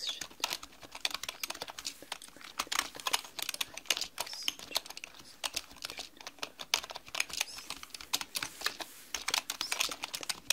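Long manicured nails and fingertips type rapidly on a black mechanical computer keyboard with plastic keys. The result is a fast, uneven stream of short, bright clicks and clacks that decay almost instantly, with almost no low-end weight.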